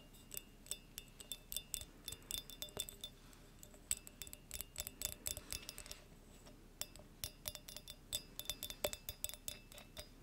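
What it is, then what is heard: Glass light bulb tapped. A small, clear, hollow glass halogen light bulb is tapped with long nails close to the microphone. The result is a rapid, irregular run of short, bright glassy clicks and clinks with high ringing overtones that decay almost at once. The taps come in clusters separated by brief pauses.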